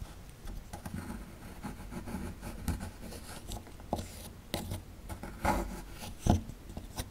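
A metal chisel tool chips and scrapes at the lower right of a solid plaster fossil dig block. Quiet, irregular scratching and gritty rubbing are broken by short, sharp taps and crumbling ticks. The sound is mostly low and dull, with brief bright clicks that die away almost at once.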